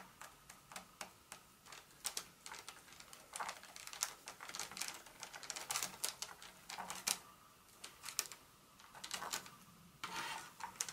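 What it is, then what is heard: Paper-wrapped chocolate bar tapped with nails. The tips of long acrylic nails tap and scratch a solid Hershey's milk chocolate bar in its paper wrapper, lying flat on a mat. It makes a quick, uneven run of sharp, bright clicks mixed with short papery scratches. Each sound is dry and stops instantly, with no ring.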